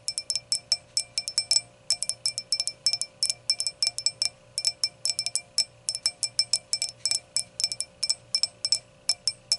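Long acrylic nails tap and scratch around the stem joint on the round, clear glass foot of an empty stemmed hurricane glass. About 49 quick, bright glassy clinks come in uneven bursts, each dying away almost at once, over a faint steady hum.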